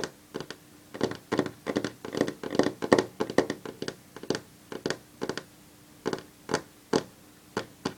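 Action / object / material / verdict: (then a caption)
tap / varnished wooden tabletop / wood / none. Long fingernails tap rapidly on a solid varnished wooden tabletop. Irregular bursts of quick, dry clicks come in uneven clusters and die away almost at once, with a faint steady hum underneath.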